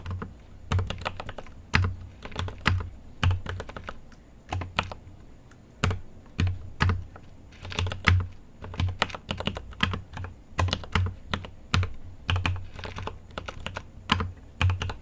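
A GMMK Pro mechanical keyboard with an aluminum case and plastic keycaps is typed on continuously with the fingertips of both hands. The keystrokes come in quick, uneven bursts of short clicks with a deep, low thock under each press and a brief bright tick on top. The taps die away quickly, and quieter pauses fall between the runs.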